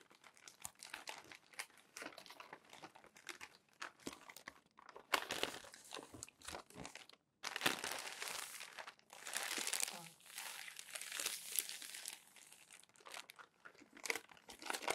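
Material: Paper.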